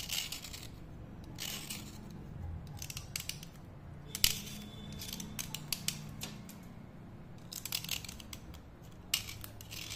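A thin solid slate pencil, held in fingers with long painted nails, is dry-cleaned by scraping it with a utility knife blade. Short, bright, crisp scraping bursts come in irregular clusters, centred around 2.9 kHz, with a few sharper clicks. Between strokes, a quiet low hum sits underneath.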